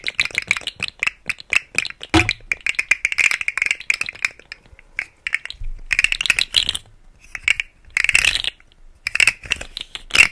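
A rainbow segmented plastic articulated fidget slug toy hangs from a hand at the left of the mic and is wiggled so its hollow segments rattle. Quick, dry clicks and clattering come in bursts separated by short pauses. The sound is bright and high, peaking near 2.7 kHz, and each click dies away almost instantly.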